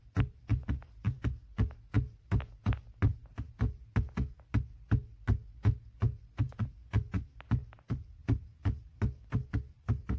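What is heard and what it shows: Fingertips and short nails tap and scratch a padded black grained leather center armrest, soft over a hollow base. A quick, uneven run of dull, low thumps with a brief bright click on each tap, with almost no ring after each hit.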